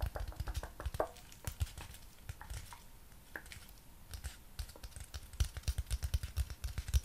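A long, flat strip of brown honeycomb cardboard with a printed diamond pattern is held horizontally and tapped with the fingertips and nails of the other hand. Quick, dull, low thuds come in bursts with light clicks. A quieter stretch in the middle is followed by a denser run of sharper taps.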